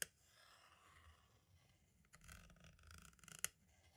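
A green-and-black striped tool scratches and traces across the label of a hollow plastic compact cassette shell and toward its window. A sharp click opens the clip, followed by faint, bright scraping, which grows into louder raspy scratching midway. A quick run of small ticks ends in another sharp, crisp click.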